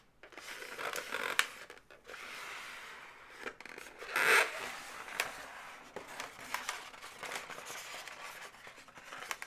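Long nails tap and scratch along the body and leg segments of a hollow, pink, inflated latex twisting-balloon animal. The result is a string of dry, bright squeaky scrapes and light taps with little low end. A louder, sustained squeal rises around the middle of the clip.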